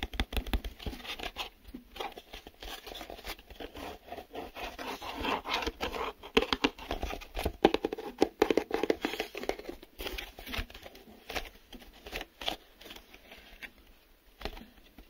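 A small, empty, hollow printed cardboard retail box for a car amplifier is held in both hands while fingertips and nails tap and scratch its glossy printed sides. The result is a quiet, steady stream of dry, papery taps and crinkly scratches, mostly in the mid-range with some brighter scraping. Each hit dies away almost instantly with no ring.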